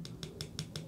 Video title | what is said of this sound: ⚡️ Kupas Tuntas Amazfit GTR Mini! Rekomendasi Smartwatch 2023 | plastik yang di belakang Ini juga tebal ya tuh ya bunyinya padat tebel